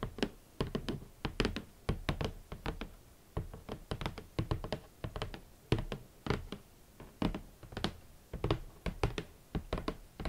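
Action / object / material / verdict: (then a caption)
tap / cardboard shoe box / cardboard / none. Fingertips and long nails knock and tap on a large, hollow, rigid red cardboard shoe box. The result is a steady run of short, dull, hollow thunks with a low, boomy body and very quick decay. Occasional brighter clicks come from the nails.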